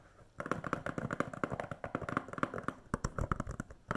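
Long nails tap and scratch a standard plastic DVD case, a thin, hollow case with a film sleeve under its clear cover, held upright. After a brief quiet start, a quick, irregular run of dry, clicky taps follows. Each tap is short, with a hollow low-mid body and a plasticky mid-range tick.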